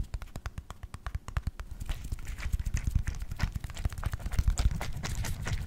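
An orange plastic pill bottle with a blue label and white cap, partly filled with gel beads, is tilted and shaken in the hand. It gives a fast run of short, dry rattling ticks, evenly spaced at first and then thickening into a dense, chattering clatter with a soft low thud under each shake.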